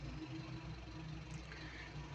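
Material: Nothing is struck.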